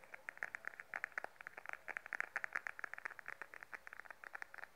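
Long nails tap and scratch a small beige glossy patent faux leather wallet held upright. About thirty quick, dry clicks come in an uneven patter, bright around 1.8 kHz with almost no low end and no ring between them. Soft scratching fills the gaps between taps.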